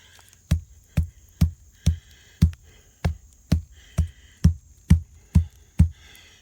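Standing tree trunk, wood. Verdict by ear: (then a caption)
Hollow. Knuckles knock on a standing wooden tree trunk that has a hole where an animal lives, making a steady run of twelve deep, hollow, drum-like thumps with very short decay. The trunk is judged to be hollow and is expected to fall someday.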